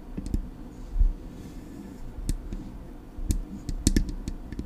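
Long acrylic nails tap on the silver metal body of a Blue Yeti microphone, making a series of sharp, clicky taps at irregular intervals. Each tap has a low, dull thump underneath and fades quickly over a soft, steady low hum.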